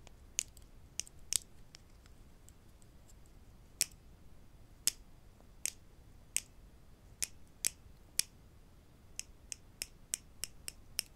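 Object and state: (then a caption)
Wooden clothespins. Wooden clothespins are tapped, giving 18 sharp, dry, high-pitched clicks that die away almost instantly. The taps come at irregular intervals over a faint background hiss, with no talking.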